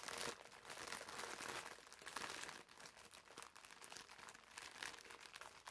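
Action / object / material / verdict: scrape / foam bath sponge in plastic film / plastic film / none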